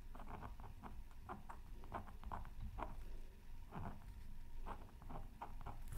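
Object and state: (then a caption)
Scratch art paper being scratched. A thin wooden stylus scratches fine strokes into a flat black-coated scratch art paper sheet from a Mythical Creatures Super Scratch Art Pad, resting on a silicone mat. Short, dry, papery scratches repeat in quick bursts, with a faint steady tone near 940 Hz, over a constant low rumble.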